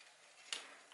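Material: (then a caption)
Plant stem. An old strawberry leaf, shaken side to side, breaks off at its base where it joins the crown, giving a single short, crisp, high-pitched snap that fades almost at once. The leaf comes off easily because it is old and its joint to the crown has become fragile, a sign that it should be removed.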